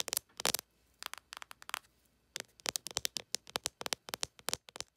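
Long acrylic nails tap and scratch the raised, embossed character face on a closed cardboard eyeshadow palette. The result is a quick, uneven run of dry, bright clicks and crackly scratches with almost no low end and no ring. It comes in bursts separated by short quiet gaps.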